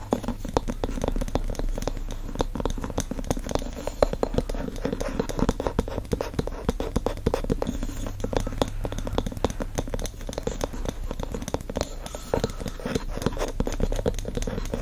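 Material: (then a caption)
Glass, wood. Fingertips tap and scratch the wooden lid and glass sides of a wax-filled glass candle jar resting on a fleece surface. The result is a steady, dense stream of soft, short taps and scratchy rasps, with a low-heavy body and a mid tone around 580 Hz.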